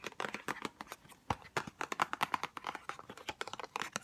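A small white Chanel No5 cardboard perfume box, held close, is tapped rapidly and scratched with long nails. The result is a dense stream of quick, dry, hollow clicks with faint scratchy rustling between them, all short and crisp with almost no ring or low end.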